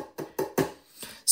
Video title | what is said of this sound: Talking Technology with NCBI Labs Episode 39 - The World of Accessible Health Tech | if I tap it you'll hear that the top is actually a solid pane of glass